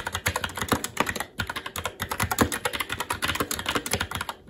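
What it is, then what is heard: Plastic mechanical keyboard. Continuous fast typing with the fingertips of both hands on a SteelSeries Apex 7 TKL mechanical keyboard, with plastic keycaps on a metal top plate and Red linear switches. A dense stream of sharp, short plastic clacks rings out, with a brief lull around the 1.3-second mark before the rapid keystrokes resume.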